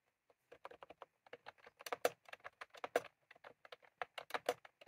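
Fingertips of both hands type continuously on a full-size plastic computer keyboard with round cream typewriter-style keycaps, resting on a desk. The result is a quick, uneven patter of short, dry clicks that die away almost at once, centred low-mid around 500 Hz with a few brighter, sharper taps standing out.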